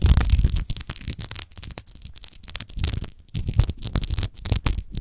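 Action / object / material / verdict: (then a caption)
scrape / empty textured glass wine bottle / glass / none. Long nails scratch fast over the embossed, textured glass base of an empty glass wine bottle lying on its side. Quick, irregular bursts of dry scraping and crackling repeat, with bright high hiss and a low rumbling body underneath.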